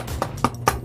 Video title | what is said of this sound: English Muffins (Pandemic Baking) | you can hear that it's hollowing up inside